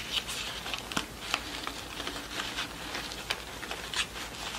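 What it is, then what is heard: Satin ribbon rosette with cardboard center. Long nails tap and scratch the cardboard center disc and the pleats of a yellow pleated satin award rosette lying on a table. About five sharp, bright taps stand out over a steady, crisp scratching and crinkling. The sound is high and dry, with almost no ring after each hit.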